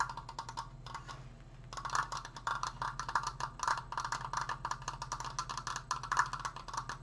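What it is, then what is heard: Wooden decoration, tapped. Fast fingertip tapping on a wooden Triforce decoration produces a rapid stream of short, dry clicks with no ring, centered around 1 kHz. The tapping slows briefly near the start, then resumes in dense, quick bursts.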